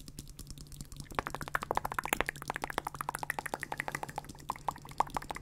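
Fingertips and nails tap and scratch the hollow plastic earcups of over-ear gaming headphones worn on the head, which also have a plastic headband. After a quieter first second, a rapid, uneven run of short, dry, hollow clicks sits in the mid range with bright edges over a faint steady low hum.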